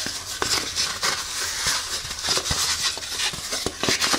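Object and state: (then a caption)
Foam shoe insole. Long painted fingernails scratch and tap a small, thin, solid beige foam insole with a fabric top, taken from a Hoka Clifton 8 running shoe and held in both hands. The sound is a steady, bright, scratchy rustle mostly in the high range, with short soft taps scattered through it and almost no low end.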